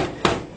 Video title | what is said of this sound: Dell Vostro 3555 AMD Powered Laptop Review | so it's metallic lid and it's very solid feeling